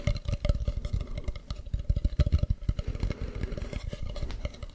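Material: Wood.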